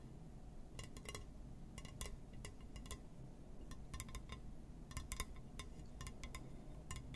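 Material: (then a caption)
Glass. A glass surface is tapped and scratched, giving quick, bright clinks and ticks that ring at clear steady pitches and die away almost at once. The taps come in irregular clusters over a constant low rumble.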